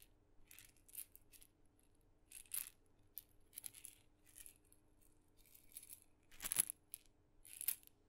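A tiny painted wooden mini maraca with a glossy red head dotted in blue and white and a wooden handle, hollow with a rattling filling, is held in the fingers close in front of the mic and shaken by hand, possibly also tapped with fingertips. Soft, bright, crisp rattling bursts come in irregular short shakes separated by near-silent gaps over a faint low steady hum, with a few louder shakes near the end.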